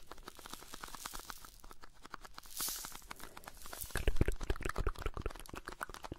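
Fingertips and nails tap and scratch the sides and flap of a small blue "Alpen Salz" cardboard carton, a hollow box probably holding salt. A steady run of quick, dry taps mixes with crinkly scratching, with a brief bright rasp near the middle. The taps turn louder and more thumping in the second half.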